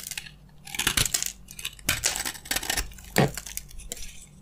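A utility knife blade carves crunchy flakes off a solid, dry green bar of soap. The scraping comes as a rapid run of short, dry, crisp crunches with bright, high crackle. Loud bursts stand out near the middle and end against a faint low hum.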